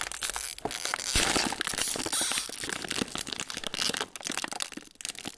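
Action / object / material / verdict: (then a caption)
scrape / metallised plastic foil food sleeve / metallised plastic / none. Fingertips of both hands pinch and crinkle the folded end of a hollow, metallised plastic foil sleeve of Ritz crackers, with crackers inside, sticking out of its cardboard box. A dense, bright, continuous crackling and crinkling is heard, with sharp crunchy snaps and brief louder bursts of rustle throughout.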